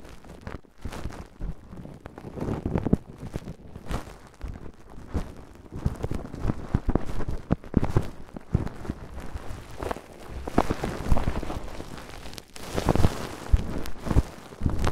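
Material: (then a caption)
Plastic film. Fingertips and nails scratch and rub a thick, roughly head-sized wad of crinkled clear plastic cling film wrapped over a Tascam microphone. The result is a dense, muffled crackling and rumbling, heavy in the low end, with uneven bursts of louder crinkles throughout.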